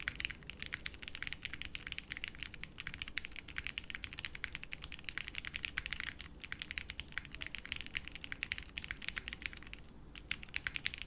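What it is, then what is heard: Mechanical keyboard with plastic keycaps. A 60% mechanical keyboard with beige doubleshot plastic keycaps in a light case, with no plate, rests on a felt desk mat and is typed on continuously with the fingertips of both hands. A steady stream of quick, bright, clacky keystrokes runs throughout, each dying away almost at once over a faint low rumble.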